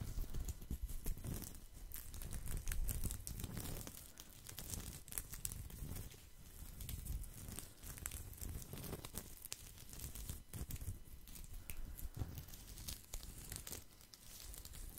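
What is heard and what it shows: Fingertips and nails scratch and rub the woven surface of a thin, round, flat straw or rattan placemat held close to the microphone. The result is a continuous, quiet, crinkly scratching made of dense, rapid dry ticks over a heavy low rumble, swelling and easing over the length of the clip.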